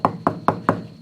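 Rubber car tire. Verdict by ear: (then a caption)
Hard. Four knocks on the old, hardened rubber tires of a 1969 Chevelle SS give short, dull, wood-like thuds that die away almost at once. The tires are hard as a rock, and one is splitting in half.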